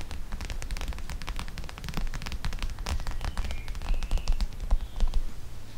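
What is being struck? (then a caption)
Clear plastic pouch of gel beads. A flat, clear plastic pouch of teal gel beads resting on top of a microphone is scratched and tapped with long nails. The result is a dense run of muffled low thumps and rumble from the pouch pressing on the mic, with sharp, bright clicks and scrapes scattered throughout.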